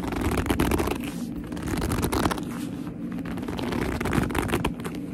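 Long almond-shaped nails squeeze and scratch a medium black leather handbag with a soft, hollow body, producing squeaky gripping sounds. A dense, continuous run of crackling scrapes and rubs with low-heavy body and squeaky creaks, ongoing with no pause.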